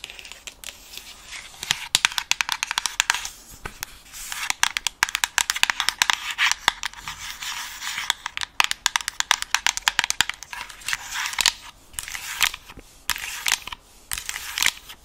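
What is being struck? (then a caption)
Plastic headset earcup. Long acrylic nails tap and scratch the smooth, hollow white plastic earcup of an Alienware-style gaming headset. The sound is a dense run of sharp, dry clicks and bright scratching with almost no low end. Each tap dies away almost instantly.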